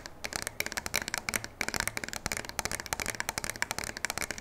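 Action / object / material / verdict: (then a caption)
tap / shotgun with polymer stock and metal barrel / polymer, metal / none. A full-size black pump shotgun with a polymer stock and a metal barrel, held upright in both hands, is scratched and tapped along its body with long nails. The result is a rapid, dense run of sharp, dry clicks and scrapes with a bright, high edge, and each tick dies away almost instantly.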